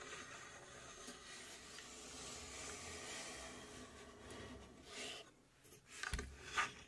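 Long nails scratch along the side and top of a small, hollow, laser-cut plywood puzzle safe box with finger-jointed panels. A soft, steady, bright rasping rub runs for about five seconds, then thins out. It ends with two sharper, louder scrapes.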